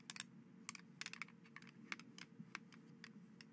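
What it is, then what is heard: Plastic skeleton hand grabber toy. White hollow plastic skeleton-arm grabber toys are squeezed by hand over a dark gauze cloth, so their jointed plastic finger bones click and clack together. About ten sharp, bright, dry clicks come in an uneven run, each dying out almost instantly over a soft low background.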